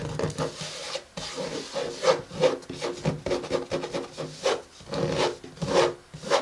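Fingertips and nails of both hands tap and scratch the matte cardboard cover of a closed pink, paper-covered hardcover journal lying flat on a table. Soft, dry scratching and rubbing alternate with a series of short, muffled taps with a hollow mid-range tone around 530 Hz and almost no ring.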